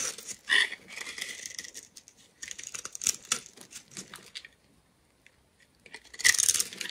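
A steel utility knife blade scrapes and cuts into the surface of a palm-sized, solid green glitter-coated bar of soap held in one hand, shaving off the coating to expose bright green soap as crumbs fall. The result is bright, crisp scraping and crackling bursts with little low end, a near-silent pause, then a final loud scrape.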